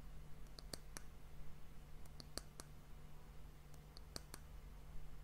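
Long fingernails tap the solid, varnished brown wooden disc end cap of an hourglass, making short, bright clicks that come in three quick clusters. Each tap dies away almost instantly. A steady low hum sits underneath throughout.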